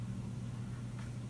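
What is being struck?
Nothing is struck.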